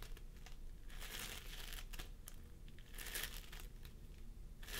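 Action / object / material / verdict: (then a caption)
scrape / floam foam with polystyrene beads / polystyrene beads / none. Fingertips of both hands press and squish a pastel mound of floam sculpting foam made of polystyrene beads on a wooden table. Soft, sticky crinkling and crackling come in bright bursts over a steady low hum.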